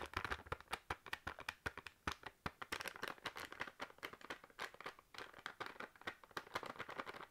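A sealed foil/plastic snack bag full of crisps is tapped and crinkled with long nails, producing a quick, steady stream of sharp clicking taps mixed with crackly rustling. The taps are short and dry, with a bright, papery crinkle over a quiet background.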